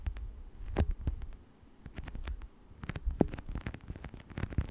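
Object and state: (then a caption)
Textured plastic sheet being scratched. Fingertips scratch and rub across the surface of a thin textured plastic scale sheet lying flat. The sound is a soft, low, muffled rubbing broken by quick, dry scratchy ticks that fade almost instantly.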